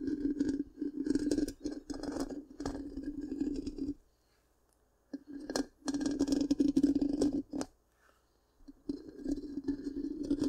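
Long pink-painted nails scratch rapidly across the black, round, hollow metal mesh grille of a large microphone. The result is dense, raspy scratching bursts with a resonant hum around 280 Hz and bright edges, broken by two short silent pauses.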